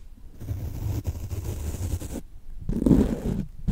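A small foam dauber on a wooden stick handle brushes and rubs a large, soft, porous yellow synthetic foam sponge held upright beside the microphone. The result is a dull, low, muffled rubbing and scraping with no bright edge, broken by brief pauses between strokes.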